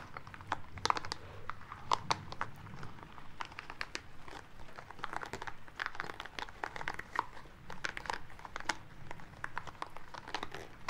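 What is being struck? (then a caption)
Small rubber spiky ball. A small green rubber spiky ball is held at the fingertips and squeezed and rubbed between the hands. It makes a steady stream of soft crinkly rubbing and sharp squeaky clicks over a low, muffled rumble.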